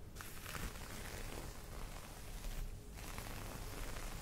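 Long nails scratch and tap across the surface of a folded green cotton terry cloth towel. The result is a soft, steady, low rustling scrape with muffled taps and little high brightness, easing briefly near the end before continuing.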